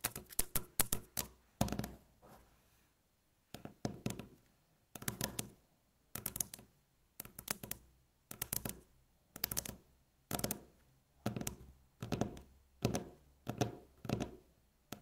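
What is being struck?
Wooden tabletop.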